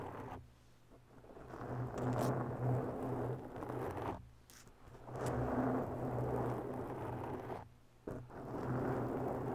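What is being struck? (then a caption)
Foam microphone windscreen. Long bare natural nails scratch slowly across a rounded, porous black foam windscreen on a microphone, working from both sides. The result is a close, muffled, rumbling rasp that swells and fades in long passes with brief quiet gaps between them. The sound sits mostly in the low and middle range and has little brightness.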